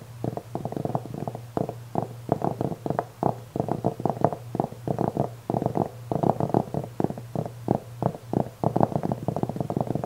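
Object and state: Velvet-covered jewelry tray being scratched.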